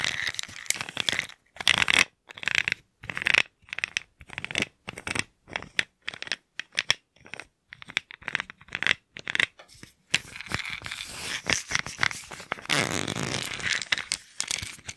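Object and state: Plastic pill bottle.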